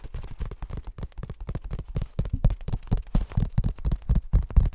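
Fingertips rub, brush and flick the paper pages of an open cream paperback book. The result is a quick, uneven run of short, dry rustles and soft flicks, each with a low, muffled thump beneath a faint papery hiss.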